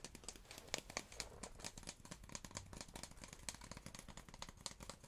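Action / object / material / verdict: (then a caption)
tap / hard cardboard tube / cardboard / none. A hard cardboard tube is tapped in quick, irregular succession, giving short, dry, crisp clicks with a papery crinkle and very little ring. The taps vary in strength, with a few sharper, brighter strikes standing out over a soft, low background.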